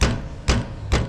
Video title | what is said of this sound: BMW steering rack repair common fault on a lot of BMW models | get your wheel and give it a tap like that and you can hear it